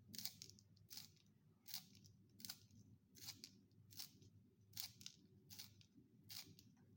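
A solid wooden pencil is twisted by hand in a small yellow plastic sharpener with a metal blade, shaving off curled wood shavings. Nine bright, crisp scraping strokes repeat at a steady, unhurried pace over a low, constant background hum.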